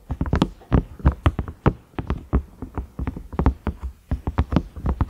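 Fingernails tap and scratch across the ridges of a large cream ridged microwave lid, likely silicone, with a round knob. A quick, irregular series of dull, low, muffled taps plays, each dying almost at once, with faint scratchy rasps between them.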